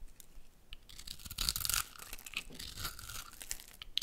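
A metal utility blade scrapes and cuts into a hand-sized, solid orange bar of soap with a dark outer layer, held in one hand, shaving off small cubes and flakes. The result is a continuous run of bright, crisp scraping and crunchy tearing sounds, with a louder burst of shaving in the middle.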